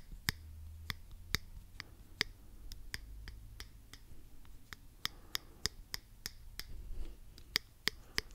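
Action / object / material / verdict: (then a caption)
tap / plastic claw hair clip / plastic / none. A small, hollow pink plastic claw hair clip with toothed jaws is held close to the microphone and clicked open and shut with the fingertips. It makes a steady run of sharp, dry, bright clicks that stop instantly, over a soft low rumble.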